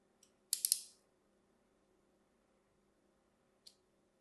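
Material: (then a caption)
Soap. A thin metal blade scores lines into the surface of a solid, hand-sized cream bar of soap held in the palm. A faint tick is followed by three quick, bright scratching strokes that fade within half a second, then a long quiet pause and one more short scrape near the end. The sound is crisp and high with almost nothing in the low range.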